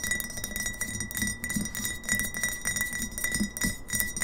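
Long fingernails tap quickly on both sides of a partly filled glass kombucha bottle standing upright on a table. The taps are bright, clicky and uneven, over faint steady high glassy ringing tones.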